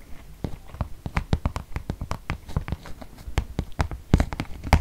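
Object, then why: Glossy paper gift bag. Fingertips and nails tap on the flat side of a medium white glossy paper gift bag with rope handles and a teal Batiste logo, apparently empty and held up in one hand. About twenty quick, dry taps follow one another in an uneven rhythm, each a short hollow thump with a crisp papery click that dies away at once.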